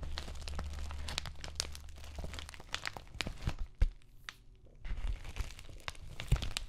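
Long nails scratch down the bubbled plastic face of an empty white padded bubble mailer held upright. Dense crinkling, crackling scratches are heard over a low steady hum in the first half, then a quieter stretch with one sharp pop before the scratching picks up again.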